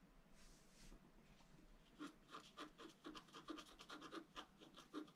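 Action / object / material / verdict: scrape / wax-coated scratch art paper scraped with a bamboo stylus / wax-coated paper / none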